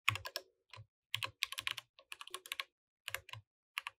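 Fingertips type on a compact plastic mechanical keyboard with plastic keycaps throughout, producing about twenty short, bright, clacky keystrokes in irregular bursts with brief pauses between. Each click is crisp and dry, with a faint low thump under some strokes and almost no ring.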